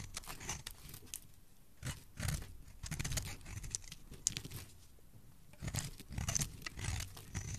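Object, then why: Soap bar scraped with a metal blade. A palm-sized solid blue bar of soap held in one hand is carved with a metal knife blade, peeling off curled shavings. Soft, crisp scraping and crunching strokes come in bursts, with a bright, hissy edge over a low, muffled body, separated by brief quiet pauses.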